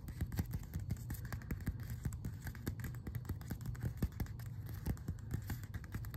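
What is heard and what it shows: A closed glossy paper magazine is held upright while fingertips scratch and tap along its edge and glossy cover. The result is a dense, steady run of quick, soft taps with short scratchy brushes, mostly low and dull with a faint bright edge, and each tap dies away almost at once.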